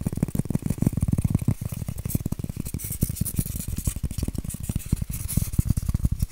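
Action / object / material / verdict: scrape / styrofoam form / styrofoam / none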